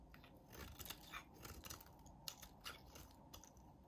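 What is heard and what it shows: A utility knife blade shaves thin curls from a solid, hand-sized peach-orange bar of soap. The result is a quiet series of crisp, crunchy scraping bursts with bright, high-pitched edges over a soft low rumble.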